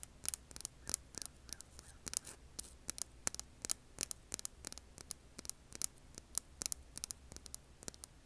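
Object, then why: Rough granite-like rock. Long polished nails scratch and tap the side of a large, solid, rough granite-like rock held in the hand. An irregular run of dozens of short, dry, bright clicks and scratches stops almost instantly each time, over a faint low hum.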